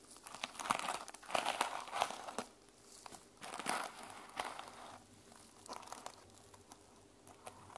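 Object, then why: Sequin-covered notebook cover. Long nails scratch across the sequins of a sequin-covered notebook held at an angle, producing bright, crinkly rasps in irregular bursts. The scratching swells and fades over several seconds, with short crisp clicks between the louder passages.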